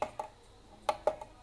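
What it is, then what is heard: Aluminum clock pendulum. A Seiko QW602B wall clock's pendulum, made entirely of aluminum, gives five short, light metallic taps. Each tap has a bright ring centered near 840 Hz that dies away almost at once. There are two quick taps, a pause, then three more.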